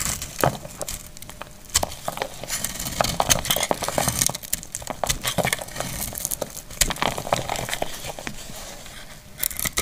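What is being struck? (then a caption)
Glycerin soap bar scraped with a knife blade. A hand-sized, dried and frozen purple glycerin soap bar, held in one hand, is cut and scraped with a metal utility knife blade, making a dense run of crisp, bright crackling and scraping clicks throughout. Flakes of soap fall off as the blade works through the bar.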